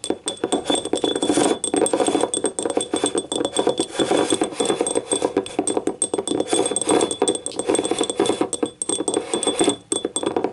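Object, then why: Small ribbed ceramic cup. Long painted nails scratch and tap the ribbed, glazed wall of a small, hollow, empty yellow ribbed ceramic cup lying on its side. The result is a dense, continuous stream of quick clicks and scrapes centered in the midrange, each dying out almost at once, with faint steady high tones running underneath.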